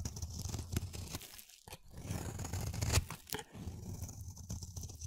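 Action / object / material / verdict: scrape / bar of soap cut with a blade / soap / none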